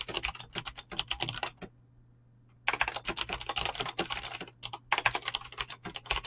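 Fast typing on a full-size mechanical keyboard with Razer clicky green switches and dyed PBT plastic keycaps, resting on a desk and struck with fingertips and short nails. Rapid, bright, sharp clicks run in dense bursts, with a silent pause of about a second near the two-second mark before the continuous key presses resume.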